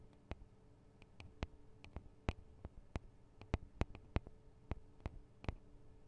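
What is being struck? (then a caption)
Metal microphone capsules with guard wings. Long acrylic nails tap the small hollow metal microphone capsules with metal guard wings on a Tascam DR-40 recorder, making seventeen sharp, separate clicks over a quiet background. Each tap is a brief bright tick with a dull low thump underneath, dying away almost instantly.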